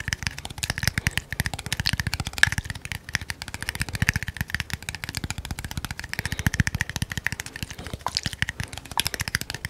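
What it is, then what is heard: Small glass bottle tapped with fingernails. A small hollow red glass bottle with a silver cap is held in one hand and tapped very rapidly with the fingernails of the other. The result is a dense, continuous stream of short, dry clicks with a bright ring around 1.7 kHz over a soft low thump, and each tap dies away almost instantly.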